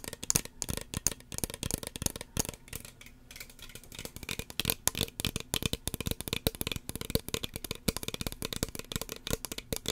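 Long fingernails tap rapidly on a small, hollow red plastic spray bottle with a white plastic pump cap. The taps are quick, dry and clicky, with bright, crisp tops and short hollow thuds that stop almost instantly. They briefly thin out around the third second before resuming as a dense, steady patter.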